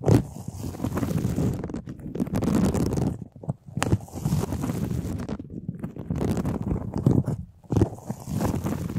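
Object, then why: Ribbed flexible plastic duct tube. Fingernails scratch along the ribs of a large, hollow, white flexible plastic duct tube held up close. The result is a dense, low, rumbling scrape with a hollow, boomy body, coming in long continuous strokes separated by brief quiet gaps.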